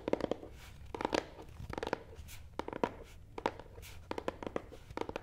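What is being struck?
Cardboard box.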